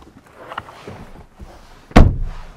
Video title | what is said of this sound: ¿Es el Ineos el verdadero sucesor del Defender? | Tienes que darle un golpe fuerte a la puerta para cerrarla y se escucha un sonido seco, como de aislamiento.